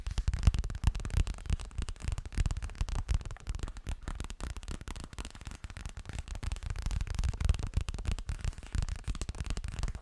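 Fingertips rapidly tap and scratch a hollow yellow zippered toilet bag, likely made of coated fabric, held sideways. The result is a steady stream of soft, muffled low thumps with very short decay, layered with faint scratchy rustling.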